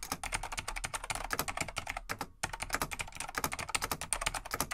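Fingertips of both hands type rapidly on a large beige plastic vintage full-size mechanical keyboard, a Laser XT/AT, with light plastic keycaps. A steady stream of bright, crisp clicks and clacks fills the clip, broken by a brief pause near the middle before the typing resumes.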